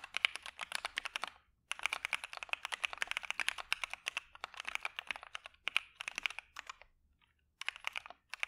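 Both hands type continuously with their fingertips on a dark Maja mechanical keyboard with white PBT keycaps and a PE foam mod. Rapid, bright, short clacks centred around 2.4 kHz run in dense bursts, with brief pauses near 1.5 and 7 seconds.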